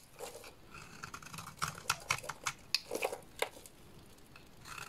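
A small blade scrapes and cuts curls off a solid purple oval bar of soap with an embossed logo. The result is a run of crisp, dry scraping and snipping sounds with bright, short clicks and no lingering ring.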